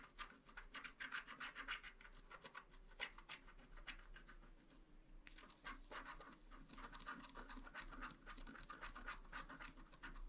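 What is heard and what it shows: A wooden stylus scratches the rainbow area at the lower right of a flat, black wax-coated paper scratch art card. Quick, dry, irregular scraping strokes crackle with a bright rasp, briefly easing around the middle before resuming at a steady pace.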